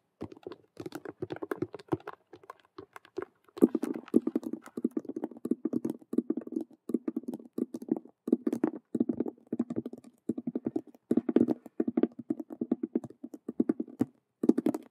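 Long nails tap and scratch fast across the stitched squares of a hollow patent faux leather (vinyl) Rubik's cube handbag as it is turned to show its other faces. Dense bursts of dry, clicky tapping and scraping with a hollow, mid-low body come in quick clusters separated by brief pauses. Each hit dies away almost instantly.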